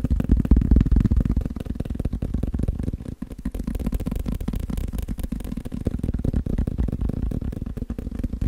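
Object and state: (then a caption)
Paper sticky-note pad. A thick, solid block of yellow and white paper sticky notes is held in one hand while the fingertips and nails of the other hand tap rapidly on its top face. The result is a steady stream of fast, dull, low thuds with almost no ring, at roughly four taps per second in a loose, uneven rhythm, with a brief dip around the three-second mark.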